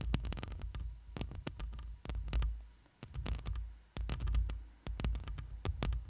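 Long pointed fingernails scratch and tap across the black metal mesh grille of a hollow studio microphone, with fingers resting on the grille. Rapid dry clicks and scrapes sit over a deep, booming low rumble that swells and drops in uneven waves, briefly going quiet near three and four seconds.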